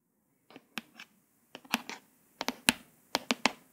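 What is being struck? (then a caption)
Hardcover paper book. Long pointed acrylic nails tap and trace the raised letters on the glossy, embossed "Dream with a Vision" cover of a flat, solid hardcover paper book. Short, bright, dry clicks with almost no ring come in irregular clusters, alternating with soft scratchy tracing sounds.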